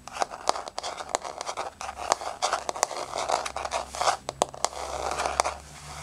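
Long nails scrape and scratch across a solid, flat wood-look laminate floor with a wood-grain surface. Dry, rasping scratches are broken by many sharp, quick clicks that die away almost instantly, with a mid-range tone around 700 Hz and some bright hiss.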